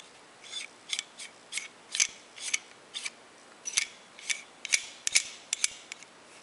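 Fingers twist the knurled metal screw-lock sleeve along the gate threads of a dark solid metal climbing carabiner held close in both hands. About fifteen short, irregular bursts of bright, grinding, ratchet-like metal clicking come through, each dying away almost instantly with no low-end weight.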